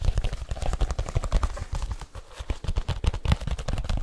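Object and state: Leather case.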